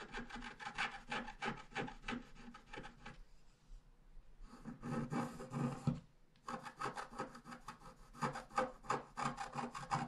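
A wooden stylus scratches the bottom grass area of a thin scratch art paper sheet lying flat, making quick, dry, rasping strokes in rapid runs. The scratching pauses briefly twice, then resumes in dense, uneven bursts with a bright, papery texture.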